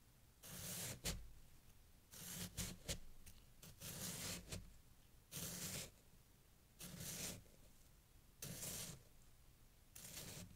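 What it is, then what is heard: Packed snow being scraped and cut. A knife blade is drawn sideways through a solid mound of packed snow and scraped along it while one hand holds the mound steady. Crisp, bright scraping and cutting strokes come in bursts with a faint low rumble under each. Quiet pauses fall between the strokes.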